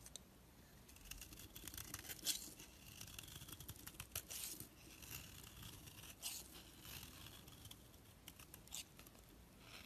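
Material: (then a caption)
Soap. A blade scrapes curling flakes off a handheld solid orange bar of bath soap, and the flakes pile up on the surface below. Quiet, dry, bright scraping and crisp rasps come in short uneven strokes, with a few louder crackly scrapes standing out. A faint low rumble runs underneath.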